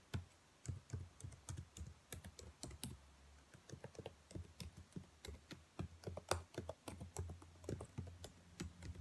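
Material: Plastic.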